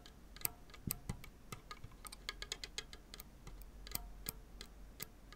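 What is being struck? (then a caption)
Synthetic strings on a graphite tennis racket frame. A tennis racket with synthetic strings on a graphite frame lies flat, one hand holding the frame, while fingertips and nails pluck and scratch the taut strings near the lower string bed. The result is a quiet, irregular series of short, bright, tick-like plucks and dry scratches that die away almost instantly, over a faint low rumble.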